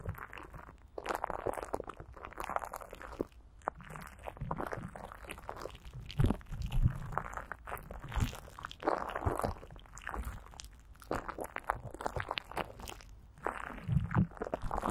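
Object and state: Greased plastic wrap rubbed over a microphone.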